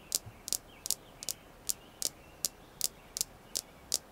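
Eleven crisp, high-pitched clicks as long nails tap a small, solid, polished red jasper star stone, each one bright and dry with almost no low end. The taps come in a loose, steady rhythm about every third of a second and die away instantly.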